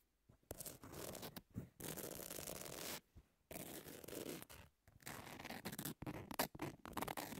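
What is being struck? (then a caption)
Emery nail file. Long nails tap and scratch the abrasive surface of a long, thin, flat emery nail file with pink edges, lying solid on a table. Dry, gritty broadband scratching comes in sustained strokes broken by brief silences, with sharp little taps toward the end.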